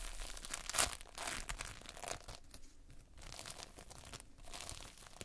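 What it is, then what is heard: Playfoam being squeezed. Multicolored Playfoam, foam beads in a sticky binder, is pressed with the whole hand and squeezed by fingertips, giving close, bright crackling and crinkling with tearing-like bursts. A loud, sharp crackle stands out near the first second, followed by irregular, softer sticky crunches and pops.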